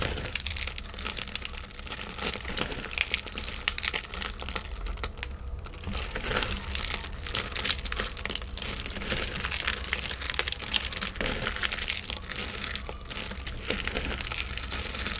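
Bare fingertips and palms press, rub and scrunch a thick pile of thin, brittle shards of milk, white and ruby-toned chocolate on a white tray. The shards crackle against each other in a dense, continuous stream of bright, dry crinkling snaps with no ring. A steady low hum sits underneath.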